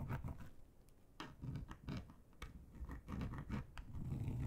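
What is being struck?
Textured plastic board.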